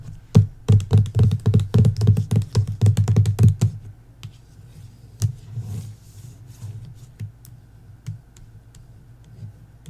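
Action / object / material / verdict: tap / hardcover book with paper dust jacket / cardboard / none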